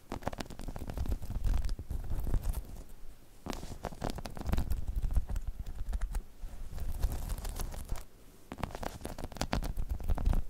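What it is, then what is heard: Spiky rubber balance pod scratched with nails. Long chrome nails scratch over a hollow, dome-shaped spiky rubber balance pod. The result is a dense, low, rumbling scratch with quick crackly spikes that come in bursts, with brief quieter pauses between them.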